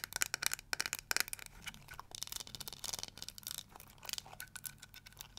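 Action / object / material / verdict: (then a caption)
scrape / plastic detangling hair brush with nails scratching bristles and tapping the back / plastic / none. Long nails scratch the bristles and tap the plastic back of a small, round, pink-and-yellow flower-shaped plastic detangling hair brush. The result is a dense run of bright, dry scratches and crisp clicks with almost no ringing, fast and close together, with a short lull near the middle before the scratching picks up again.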